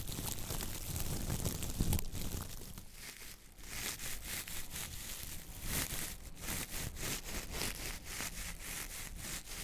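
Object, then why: Coir-bristle dish brush with wooden handle. A coconut fiber dish brush with coir bristles and a wooden handle has its bristles scratched by fingernails, then its head squeezed by hand. A dense, bright scratching rustle with a low rumble underneath dips briefly, then returns as quicker, rhythmic crinkly rasps.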